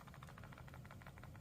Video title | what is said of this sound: SPIGEN VS BENKS (ENZO ARAMID VS ARMOR PRO) | it does shake ever so slightly, but in regular use, you probably won't notice it too much